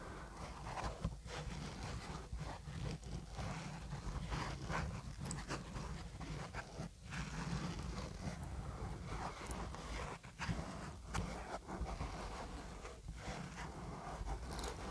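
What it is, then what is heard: Foam microphone windscreen being scratched. A fist-sized, soft, porous black foam windscreen covering a microphone is scratched and rubbed with the fingertips and short nails of both hands. The result is a continuous low, muffled rumble with scratchy, rustling texture and occasional brief louder thumps.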